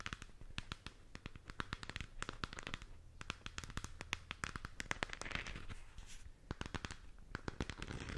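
Long nails rub and scratch the surface of a hollow plastic galaxy moon lamp sphere. The result is a dense stream of quick, dry crackling ticks and scrapes with bright edges over a low, steady hum. The scratching never settles into a pause.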